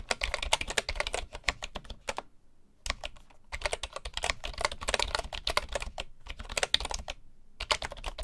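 Both hands type with their fingertips on a full-size bamboo keyboard with wooden keycaps. The result is bursts of rapid, dry, bright clicks that die away almost instantly, with a faint low knock under each keystroke. Short pauses break up the flurries of typing.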